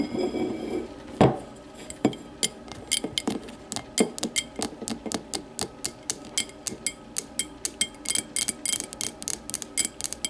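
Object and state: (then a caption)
Glass tumbler tapped and scratched with nails. Long matte nails scratch and then tap a small, empty, clear glass whiskey tumbler, first turned upside down and then laid on its side. A brief rough scratching opens the clip, followed by a steady run of sharp, bright clicking taps, each with a short glassy ring that fades quickly.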